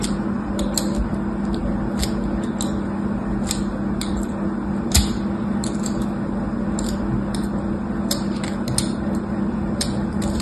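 A thin metal tool, held in a hand with long white nails, scratches grooves into the top face of a solid rectangular red bar of soap lying in a grid of other soap bars and steadied by fingertips. Short, bright scraping ticks come through over a steady low hum. One slightly louder scrape lands near the middle.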